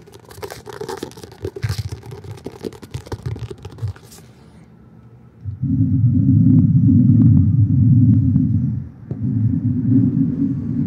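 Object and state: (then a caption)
Paperback book with glossy cover. Fingertips and nails tap and scratch the glossy coated paper cover of an illustrated paperback book held upright, making quick, irregular taps and crackly scratches for about four seconds. After a brief quiet pause, a steady, loud, low rubbing rumble takes over, dipping briefly before continuing to the end.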